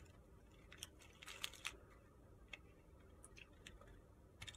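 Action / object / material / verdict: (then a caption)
scrape / bar of soap cut with a blade / soap / none. A utility-knife blade shaves the surface of a narrow, solid, pale pink soap bar held in the hand. It makes a series of quiet, crisp, bright scraping ticks with no lingering ring, set over a soft low background hiss.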